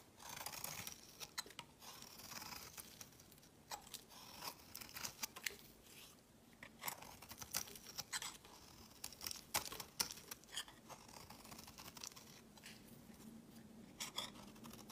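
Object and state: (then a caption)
Soap bar being shaved with a blade. A solid, opaque mint green soap bar held in the hand is shaved with a utility blade. The result is a quiet run of dry, crisp scraping and crunching strokes, bright and crackly with almost no low end. Each short shaving pass stops quickly with little ring.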